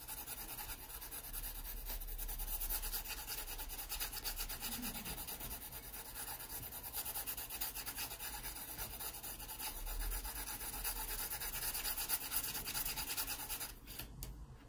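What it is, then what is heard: Pencil shading on a sketchbook page. A yellow wooden graphite pencil held in the fingers shades a thin paper page of an open sketchbook lying flat over a solid backing, using back-and-forth strokes. The result is a steady, bright, dry scratching rasp that continues almost unbroken and drops away just before the end.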